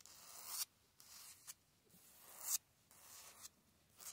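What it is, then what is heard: Concrete block wall being scratched. Fingertips and nails scratch and tap quickly across the rough surface of a grey concrete cinder block wall outdoors. Bursts of harsh, bright scraping rise and then cut off sharply, separated by short quiet gaps.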